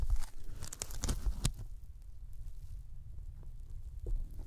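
Fingertips tap along the top edge of a thin white closed-cell polyethylene foam sheet that is bent and laid over the microphones, producing sticky, crinkly crackles and sharp bright clicks. The taps are densest in the first second and a half, then fade to a low, muffled rumble with a few soft taps near the end.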